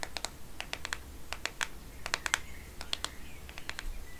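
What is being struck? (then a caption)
Plastic smartphone case. Fingernails tap and rub on the back and edge of a black matte plastic smartphone case, making a quick run of crisp, dry clicks with a bright edge. The short ticks come in uneven clusters over a faint low hum, each dying away almost at once.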